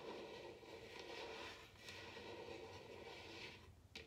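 Long nails scratch across a large, hollow, upside-down bamboo wooden bowl, making a steady, quiet, bright rasping texture with a hollow mid-pitched body. Near the end, a single sharper tap on the bowl rings out briefly.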